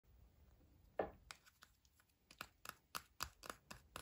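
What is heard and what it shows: A small pink-and-white Kinder-style chocolate egg in printed aluminium foil, with a solid chocolate shell and hollow inside, is held in the fingers and turned over while fingertips and nails tap and rub the foil. About eleven crisp, short clicks and crinkles sound over quiet rustling, the sharpest coming in quick succession toward the end.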